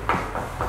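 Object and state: Solid plaster wall.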